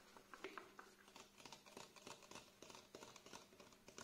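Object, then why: Plastic squeeze bottle. A plastic face wash bottle with a green cap, held tilted in one hand, is tapped and scratched with the fingernails of the other hand. It gives a quiet, steady run of short, dry plastic taps mixed with bright, crinkly scratching. Each tap dies away almost at once, with little low end.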